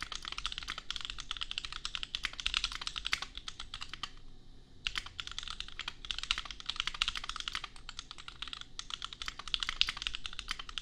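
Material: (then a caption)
Plastic. Fingertips of both hands type fast on a $250 custom compact mechanical keyboard with Gateron Milky Yellow switches and red/pink plastic keycaps. A dense run of short, bright clacks centers around 2.9 kHz, with a brief pause near the four-second mark before the typing resumes.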